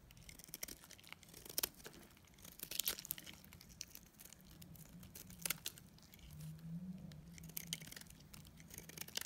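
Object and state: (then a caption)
Dried soap bar being scraped. A metal utility blade scrapes and cuts flakes from a dried pink and blue solid soap bar, making quiet, dry, bright crackling and crinkling scrapes. Sharper snaps stand out now and then, over a faint low hum.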